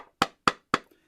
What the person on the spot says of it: is the sound of the wood when I knock my Knuckles on the wood